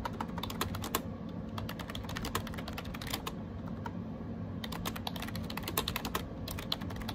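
Fingertips type rapidly on a gray AJAZZ 308i wireless Bluetooth keyboard with round plastic keycaps. Quick, bright plastic clicks and taps sound in a steady stream over a low, constant hum, with a few louder key strikes standing out.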